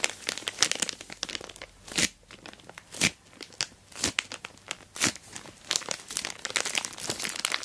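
Long black nails scratch and fingertips rub and squeeze an orange plastic Temu shipping bag wrapped around a boxed dual-camera dash cam. The crinkly plastic gives a steady stream of bright, dry crackles and rustles with almost no low end, broken by sharper, louder crunches around the 2, 3, 4 and 5 second marks.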